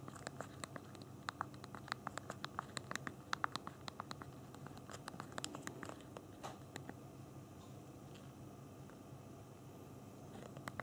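Thumbs tap the small plastic keys of a handheld BlackBerry phone's physical keyboard while typing and navigating. Quick, light, bright clicks come in dense bursts during the first half, then thin out to scattered taps over a soft, steady low background.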